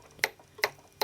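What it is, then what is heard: Metal support bar, not plastic. Three light taps on the metal support bar of a display stand for a 1/6 scale probe droid figure give short, bright ticks that ring near 2 kHz. The taps show the bar is metal, not plastic, which is likely why the stand could not be made clear.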